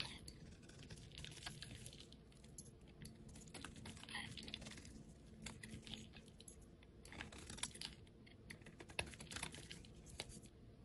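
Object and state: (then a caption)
Bar of soap being shaved with a blade. A utility knife blade shaves thin slices off the surface of a solid pale yellow bar of soap held in a hand with painted nails. The carving makes quiet, crisp scraping and crackling strokes with a bright, dry texture, repeating in quick uneven bursts over a low, steady background hum.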